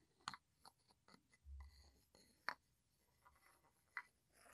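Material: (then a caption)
Wood. A wooden pestle is tapped and scraped against the rim and sides of a small, hollow, light-wood mortar that looks empty and is held in one hand. Four sharp, dry, bright knocks stand out, separated by quieter scraping and soft rustling, with a brief low rumble in between. The knocks die away almost instantly, leaving no ring.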